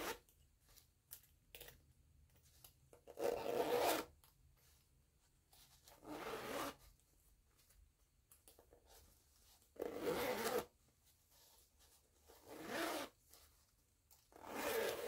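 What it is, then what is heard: Canvas zipper pouch being zipped. Long-nailed fingers zip the green nylon zipper of a small floral canvas pouch and rub along the zipper edge. Five distinct rasping zip strokes with a bright edge stand out, separated by quieter scratchy rubbing and tapping.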